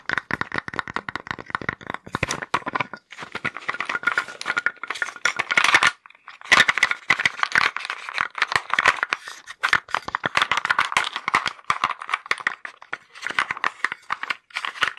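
Fingers dig into a small light-wood box filled with small wooden blocks and move them around, producing a dense, rapid stream of sharp knocks and clacks. The clatter is bright and dry, centered in the upper midrange with almost no low end, and pauses briefly around the six-second mark before continuing just as busily.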